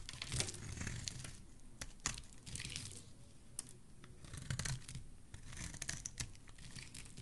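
A solid white soap bar held in the hand is sliced and shaved with a metal blade, with chunks and curls falling away. Close, quiet, crisp scraping and crackling cuts come in uneven bursts over a soft low rumble, with brief bright snaps between strokes.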